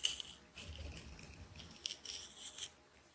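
A fist-sized solid ball of wound green transparent adhesive tape, held in one hand, is cut and scratched open with a metal craft knife blade. The blade makes bright, crackly scraping and slicing bursts with a high hiss and a soft low rumble underneath, then the sound drops off into quiet at the end.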